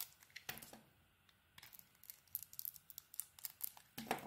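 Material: Soap.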